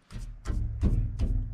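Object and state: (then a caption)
Securely mounted exhaust muffler, no rattle. A stainless steel exhaust muffler on a 1973 Mercedes-Benz 280SE 4.5 is knocked by hand after a rubber spacer was added where it had been banging against a holder. Several dull, low thuds come with a short ring and no rattling. The muffler is securely mounted.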